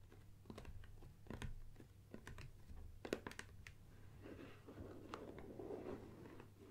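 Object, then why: Cardboard lens box. Long painted nails tap and scratch the sides and front of a closed, gold-printed, medium-size cardboard Nikon lens box, hollow with the lens packed inside and standing on a wooden table. Quick, dry, hollow taps come first, then a softer, continuous scratching rasp takes over. A faint low hum runs underneath throughout.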